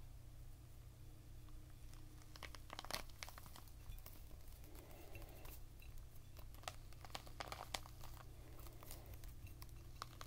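A whole, unopened, fist-sized red pomegranate with a leathery rind, full of seeds, is held in both hands above a patterned plate and rubbed and squeezed with fingertips and short nails. Quiet, dry crinkling and scratching with scattered sharp little clicks sits over a steady low hum. The result is a soft, crackly rustle with no ring after each touch.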